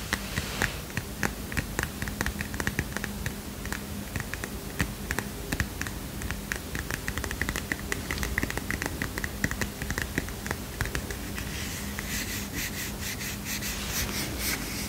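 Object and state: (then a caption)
Paper notepad. Fingernails tap rapidly on a small heart-shaped paper mini notepad, making a dense stream of short, crisp, dry clicks with quick decay. A faint steady low hum sits underneath. Near the end the tapping turns brighter and more continuous, like light scratching.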